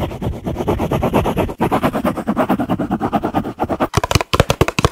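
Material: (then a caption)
Paper. Fingers rub and riffle the white pages of an open paperback book held close, a solid stack of paper. The result is a fast, dense fluttering rustle with a full, low-mid body and short pulsing bursts. It pauses briefly partway, then ends in sharper, brighter flicks of the pages.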